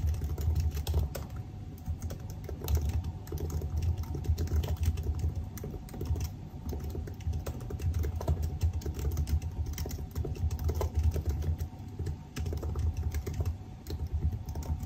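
Fingertips of both hands type continuously on a silver aluminium laptop's black plastic keys, producing a dense, steady stream of short, soft key clicks. The taps overlap too quickly to separate, over a low, heavy rumble with a faint steady tone around 700 Hz.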